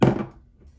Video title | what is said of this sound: Turathi Electric by AFNAN Honest First Impressions and Opinion. Worth The Hype? | this cap is heavy. I'm just going to drop it on the table here and you can hear it